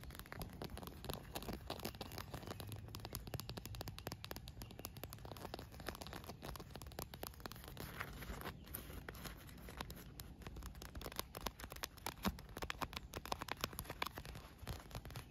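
Long nails and fingertips tap and scratch a translucent green PVC inflatable pool float, inflated and hollow, with a molded cup holder and valve, lying on grass. A dense, steady stream of crisp clicks and crinkly scratching runs throughout, over a soft low hollow thump from the air-filled plastic, with brighter taps growing sharper toward the end.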